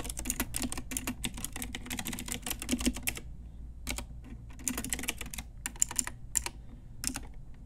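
Long nails and fingertips type on a full-size pink Ajazz typewriter-style retro mechanical keyboard with round plastic keycaps on a hollow plastic case. Quick runs of bright, clacky plastic taps with a light hollow thump underneath break off briefly near the middle, then resume in sparser bursts.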